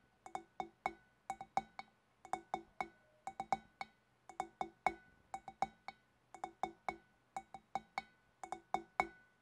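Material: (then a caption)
Glass. Long black nails on both hands tap the shoulders of a large, hollow, empty clear glass fish bowl. About 37 quick, clinking taps fall in small rhythmic clusters, each ringing briefly around 750 Hz with bright overtones above. The glassy tones die away almost immediately after each tap.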